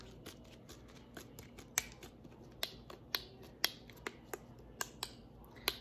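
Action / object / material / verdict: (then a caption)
tap / plastic spray bottle with metal cap / plastic / none. Long nails tap on the metallic cap and body of a clear plastic body mist bottle holding liquid. Ten sharp, bright clicks ring out at uneven intervals over a faint background hiss, each dying away almost at once.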